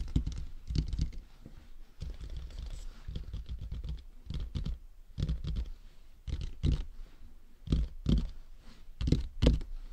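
Fingertips tap the top and sides of a hollow, matte black plastic dummy head microphone. The result is a run of soft, dull, low-heavy taps with quick decay, falling in loose clusters at an uneven pace with faint bright clicks on top.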